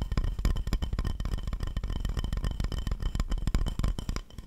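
A round, glazed ceramic plate with an owl drawing, solid and empty, is held upright in front of the mic and scratched and tapped with the fingertips and nails of both hands. Rapid, irregular taps and scrapes run throughout, each one a short, dull, bass-heavy knock that dies away almost at once. Faint, steady ringing tones sit beneath them.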